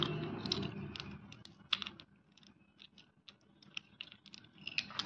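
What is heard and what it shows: A bowl of many small solid white naphthalene mothballs soaked in kerosene is stirred and rubbed by bare fingers, which clack the balls together in a handful. Short, bright clicks come in scattered bursts over a soft wet rustle that is louder at the start and fades between taps. The clicks are quick and dry, with almost no ring.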